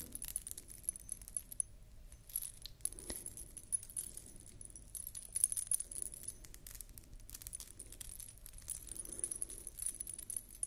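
A beaded wire ring collar necklace with metal disc dangles is held in both hands and rotated while long nails scratch across the beads. The dangles jingle continuously in soft, bright metallic tinkles over steady clicking and scratching, all at a quiet level with a low background rumble.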